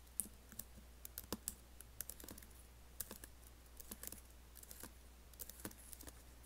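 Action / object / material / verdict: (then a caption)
tap / laptop keyboard with plastic keys and aluminium body / plastic / none. Fingertips type on the black plastic keys of an Apple laptop keyboard with an aluminium body, producing quiet, crisp clicks in an irregular rhythm. Each tap is sharp with bright high edges and dies away almost instantly over a steady low hum.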